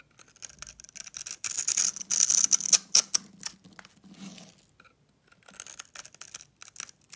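A hand-held solid purple soap bar, pre-scored in a grid, is scraped with a metal blade so that small cubes break off. The result is a series of crisp, bright scraping and crunching sounds in irregular bursts, loudest in the middle of the clip and softer at the end.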